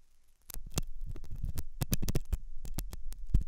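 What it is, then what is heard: Silicone ear model being scratched. A hooked metal dental tool scratches inside the ear canal of a white translucent silicone ear, a soft solid rubber model likely mounted on a binaural ear microphone. After a brief quiet start, dense low, thumping scrapes and scratches follow in quick succession, with sharp bright clicks cutting through.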